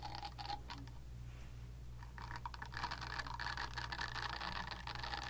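Long nails scratch and tap the smooth silicone back of a pink silicone facial cleansing brush pad held flat. A quiet, uneven run of soft, crackly scratches and light taps with bright edges plays over a steady low hum. The scratching grows busier and a little louder in the second half.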